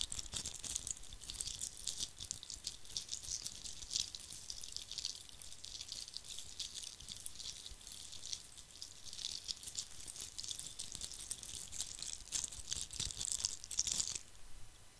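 A hand-sized, likely hollow red glitter-coated Christmas ball ornament is scratched and rubbed with fingertips close to the microphone. A dense, bright crackle of fine scratching and tiny clicks runs steadily with little low end, softening just before the end.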